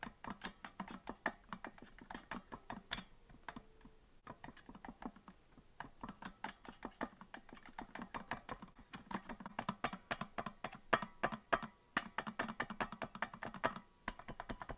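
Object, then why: Plastic melodica keys. Fingertips tap the plastic keys of a hollow green plastic melodica without blowing into it, producing a quick, uneven run of light, dry clicks. Each tap is short and quiet with almost no ring, resting around the mids with a faint low thump beneath.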